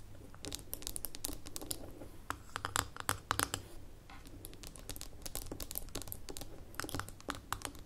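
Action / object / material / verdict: tap / small glass jar with metal lid / glass, metal / none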